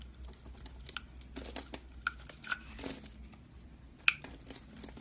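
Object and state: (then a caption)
Bar soap being carved. A metal utility knife blade scores a solid rectangular yellow-and-white striped bar of soap, held in one hand, into grid cuts and scrapes off small cubes and shavings. The result is a string of crisp, dry, bright scratching and crackling cuts with short sharp clicks, over a faint low hum. One louder snap stands out near the end.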